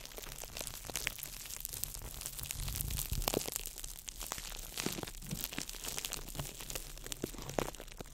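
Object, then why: Ball of clear plastic wrap. A small ball of crumpled clear plastic wrap is crinkled by fingertips over the mic. Dense, continuous crackling and crinkling is heard, with sharp bright snaps scattered throughout over a steady low rumble. The sound stays close and busy, with each crackle dying away almost instantly.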